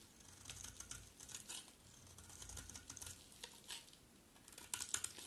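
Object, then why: Bar of soap scraped with a knife blade. A utility knife blade scrapes across the surface and edge of a solid white bar of dry soap held in the hand. Quiet, bright, crisp scratching and shaving sounds come in short bursts, with a few sharper ticks near the end.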